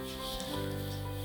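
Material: Nothing is struck.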